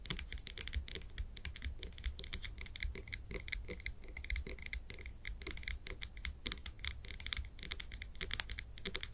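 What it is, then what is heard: Glass candle jar tapped with nails. Long acrylic nails tap and scratch the sides of a medium glass candle jar, filled with solid wax with its wooden lid on, held in both hands. Quick, dense, dry clicking taps come in irregular bursts with bright, crisp tops and almost no ring. A faint low rumble sits underneath.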